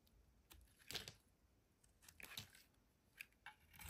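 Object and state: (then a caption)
Bar soap being shaved with a blade. A solid rectangular green bar of soap, held in one hand, is shaved and scratched with a metal utility blade, and flakes curl off onto a white surface. Quiet, dry, bright scraping strokes come in irregular bursts, with a few louder rasping passes standing out.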